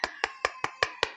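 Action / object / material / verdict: strike / plastic battery charger housing / plastic / solid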